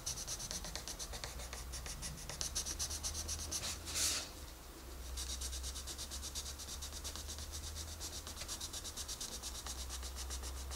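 A wooden colored pencil is rubbed in steady strokes across the page of a large, open paper coloring book lying flat on a desk, while the other hand, with red nails, holds the page. The result is a continuous, bright scratchy rasp with a rhythmic back-and-forth pulse. A steady low hum sits underneath, and there is a brief louder swish near the middle followed by a short quieter gap before the strokes resume.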